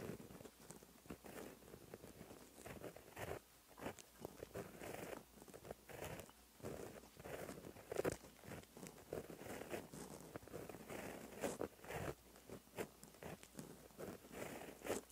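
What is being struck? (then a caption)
Ballpoint gel pen on notebook paper. A white gel pen with a metal ballpoint tip writes strokes across a flat black lined notebook page that already carries gold Korean handwriting. The pen tip makes light, dry scratching sounds in short bursts and brief strokes. The scratching is steady and quiet, with small pauses between strokes.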